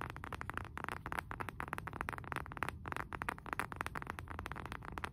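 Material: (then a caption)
Wood. Fingernails tap and scratch the face of a round, flat, solid wooden candle jar lid, about palm-sized and held upright in both hands. A quick, steady run of soft, dry taps mixed with scratchy friction, centered in the midrange with a low rumble beneath. Each tap dies away almost instantly.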